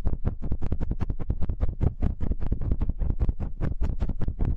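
Fingertips of both hands rub and scratch the two small cylindrical metal X/Y microphone capsules of a TASCAM handheld recorder. The result is a rapid, steady run of short, scratchy bursts with a deep, boomy low rumble, each burst dying away almost at once.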